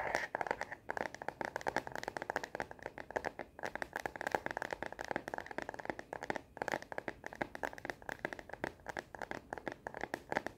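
Long natural nails tap and scratch rapidly on the back of a smartphone's translucent matte plastic case, which has a black bumper edge and a star print. The sound is a continuous stream of many quick, dry clicks and scratchy rasps, centered in the midrange with bright edges. It has almost no bass and no ringing after each tap.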